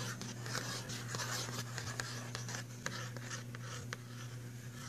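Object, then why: Printed cardboard box of pencils. A fingernail scratches and taps the front cover of a filled, printed cardboard box of pastel pencils. Dry, bright scratching is broken by sharp, quick taps, all over a steady low hum.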